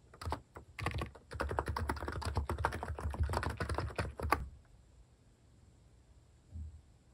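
Fingertips type on a capacitive keyboard with plastic cat-shaped keycaps resting on a wooden desk. A few quick keystrokes open the clip, then a dense, uneven run of soft, muted clacks with low thock continues for about four seconds. The typing stops and the room goes quiet except for one faint low thump near the end.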